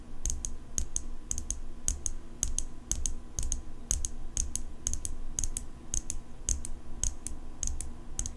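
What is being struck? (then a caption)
Steel folding knife blade. Long fingernails tap the blade of an open steel folding pocket knife held in one hand. The result is a quick, irregular run of sharp, bright metallic clicks, each with a brief high ring, over a steady low rumble.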